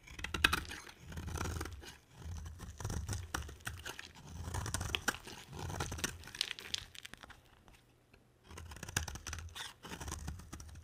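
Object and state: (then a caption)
Bar of soap being carved. A box cutter blade carves into a dry, solid, palm-sized white soap bar, producing repeated bursts of crisp, crunchy scraping and shaving with bright high edges and a soft low rumble beneath. The strokes come in waves, with a quiet pause before the carving resumes near the end.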